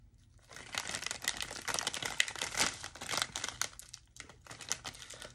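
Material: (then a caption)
Plastic film. A large, full Great Value beef and bean frozen burrito package in crinkly plastic film is held in one hand while fingertips tap and crinkle its surface. The result is dense, bright crackling and crinkling with quick, sharp ticks, after a quiet first half-second and a brief lull near the four-second mark.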